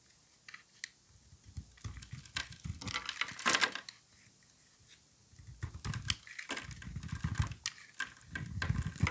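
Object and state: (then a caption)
Bar soap being shaved. A solid cream-colored oval bar of soap, held in a gloved hand, is shaved with a utility knife blade into thin strips. Short bursts of dry, scraping cuts carry bright, crackly texture over a soft low rumble. Quieter gaps separate the runs of scraping, with the loudest stretches near the middle and the end.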